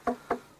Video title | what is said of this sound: A Arca de Noé foi descoberta em 2010, pela expedição NAMI. Este é o documentário. | it's wooden it's not a rock